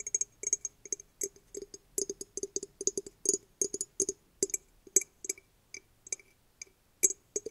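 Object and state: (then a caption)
Dried hollow gourd. A medium-sized dried gourd (guaje), hollow with an opening on its side, is held in both hands and tapped and scratched with manicured fingernails and fingertips. About 29 quick, dry clicks come in uneven bursts, each with a bright, high crackle over a hollow midrange knock. Every tap dies away almost instantly.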